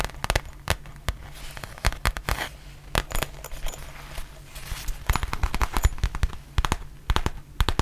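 Long nails tap and scratch the surface of a black textured faux leather zip pouch held in both hands. Quick, sharp clicking taps come in irregular clusters, mixed with brief, bright scratchy rustles over a steady low hum.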